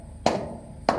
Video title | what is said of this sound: Spend Some Time With Me ~ An Impulsive Grocery Haul, Farm Work and More | there it's hollow here. Very hollow sounding.